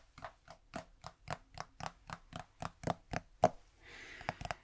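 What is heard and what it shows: Fingers tap on a plastic udder balm container, producing thirteen evenly spaced, short, hollow knocks with a mid-pitched tone around 700 Hz. The tapping then gives way to a soft, hissy scratching with a few quicker taps at the end.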